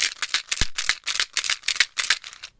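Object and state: Shaker container filled with coins.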